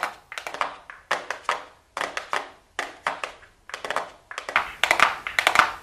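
Long blue acrylic nails tap and scratch a small, flat, hollow, closed gold cardboard makeup box held in the hands. Quick clusters of dry, clicky taps come in bursts separated by short pauses, and denser, brighter scratching and tapping builds near the end.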